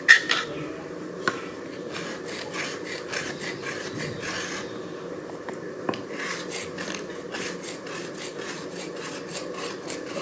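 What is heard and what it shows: A small metal blade scrapes the surface of a thin, solid grey slate piece, held up at an angle by one hand on top of a pile of slate, raising dust. Steady, rhythmic strokes give a dry, bright rasping sound, with a few sharp clicks standing out near the start and middle.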